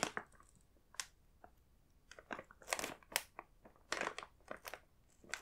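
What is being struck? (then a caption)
Plastic snack bag with inner packs. A fingertip taps and presses on the printed biscuits on the glossy film of a large plastic snack bag full of inner packs. Short, bright crinkling crackles come in uneven bursts with quick, dry decay and little low end. Between bursts the clip is near silent.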